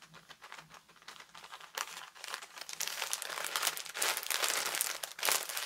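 A flat rectangular package of Fresh Face makeup remover cloths, in a thin crinkly plastic wrapper with printed paper inside, is held in both hands and scratched and squeezed with long lilac-painted nails and fingertips. It starts as soft, sparse crinkles and taps, then builds after about three seconds into dense, bright, crackly crinkling that stays loud to the end.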